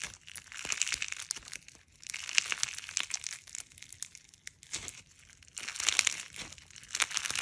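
A handful of clear slime packed with small polymer clay fruit slices (watermelon, kiwi, strawberry), a soft, solid mass, is squeezed, kneaded and pressed by fingertips and thumbs. It gives bright, crunchy crinkling and crackling in uneven bursts with short quieter gaps between them.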